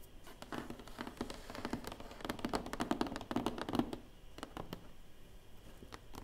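Dozens of fast, light taps come in clusters, each a short broad click with a faint low body around 300 Hz that dies at once. Fingernails tapping and scratching a large cardboard box give this dry, papery patter in a small quiet room.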